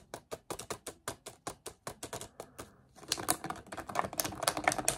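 An empty, crumpled clear plastic water bottle with its cap on is held in both hands and squeezed and twisted with the fingertips to make it crackle. A steady run of separate, sharp, bright crackles comes first, then gives way to a dense, louder, continuous crinkling in the last two seconds.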